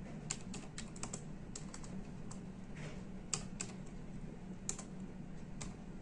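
Fingertips of both hands type steadily on the hollow plastic keycaps of a full-size plastic computer keyboard. Quick, sharp clicks with bright tops and short decays fall one after another over a steady low hum.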